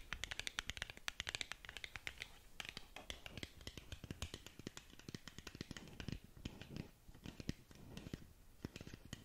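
Long nails tap and scratch across the face of a long, narrow black cardboard lip gloss box held close to the mic. The sound is a rapid, uneven stream of dry clicks and scraping crackles, bright and papery with a soft low thump under some taps, and each hit dies away almost instantly.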